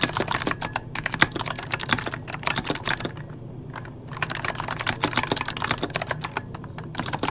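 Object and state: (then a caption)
Plastic mechanical keyboard. Rapid key taps on a full-size backlit mechanical computer keyboard with plastic keycaps, typed with the fingertips of both hands. Dense bursts of sharp, bright clicks with very short decay break into a brief lull in the middle before the fast typing resumes.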